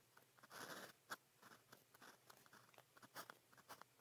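A blue plastic pen tip is drawn across a sheet of grid practice paper while writing, producing quiet, dry scratching strokes. A longer continuous scrape is followed by a series of short, bright ticks and scratches as the pen moves and lifts.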